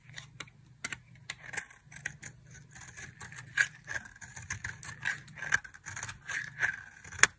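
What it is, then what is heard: Dry soap bar. A thin blade scrapes and carves a small, solid pink bar of dry soap, held in a hand with long decorated nails over a pile of soap shavings, shaving off fine flakes. The result is a quick series of short, dry, crisp scrapes and crackles with a bright, papery edge and no ring-out.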